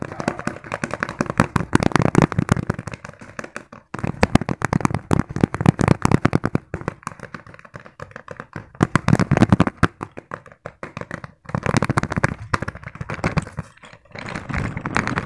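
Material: Fabric.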